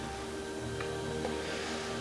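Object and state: Nothing is struck.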